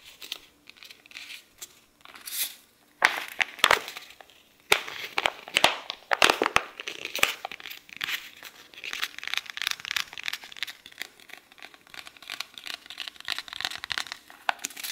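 Fingertips hold the edges of an open paperback book's thin pages, a solid stack, and flick and riffle them. The result is dry, crisp rustling and crinkling in a dense run of short, bright bursts with no low end, rising to sharper snaps around the middle.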